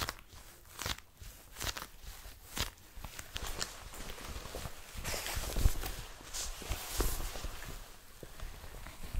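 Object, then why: Leather jacket. A blue leather jacket is held open close up while fingertips and long nails tap and scratch its leather surface. Soft, dull taps and brushing scrapes come in uneven bursts, with bright scratchy edges over low thumps.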